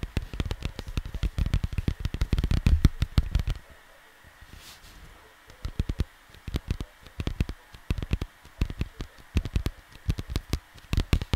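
Fingertips tap and scratch a cardboard vinyl LP record sleeve, producing rapid, dull, low thuds with faint scratchy rustling. A dense burst of taps is followed by a brief quiet pause of about two seconds, then the tapping resumes in short clusters until the end.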